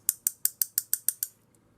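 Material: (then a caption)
Metal. A loose metal pocket clip on a Phantom Steelworks DUB Impact V2 Damascus folding knife, which floats above the scale instead of sitting tight, is tapped eight times in quick succession. Each tap gives a sharp, bright metallic tick that dies almost instantly, with a faint tick after the last one. The rattle shows the clip is not tight.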